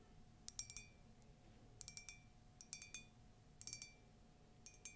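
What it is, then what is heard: Tall ceramic mug, empty. Long nails tap and scratch the side of a tall, hollow, empty white ceramic latte mug with a colourful text print. Quick bursts of bright, glassy clinks ring briefly at a high pitch, separated by short pauses. A quiet, steady low hum and a faint constant tone sit underneath.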